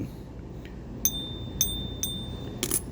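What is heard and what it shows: A toned silver coin, balanced on a fingertip, is struck four times with another coin in a ping test that checks by its ring whether it is real silver. Each tap gives a short, bright metallic ping with a steady tone near 3.6 kHz and high overtones that fade within about a fifth of a second, over a low background hum. No verdict on the coin is given.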